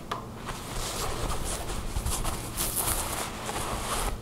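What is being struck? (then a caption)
Thin fabric garment. A thin, soft tan fabric garment bunched on a wooden table is scratched with long blue nails while hands rub and stretch it. A steady, soft, scratchy rustle with bright, hissy bursts runs over a low rumble throughout.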